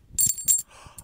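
A cloth handkerchief holding a silver 1827 coin and a copper 1852 coin is shaken near a microphone, giving about three bright, high-pitched metallic clinks with brief ringing. The clinking sounds like more than one coin, and both coins are indeed inside.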